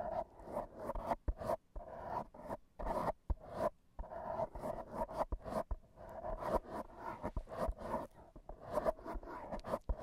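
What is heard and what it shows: AA batteries worn on the fingertips scratch and rub across a black foam microphone windscreen. The result is a close, muffled run of dense scratchy rustling with a hollow, resonant tone around 630 Hz. It is broken up by frequent sharp bright clicks and brief pauses.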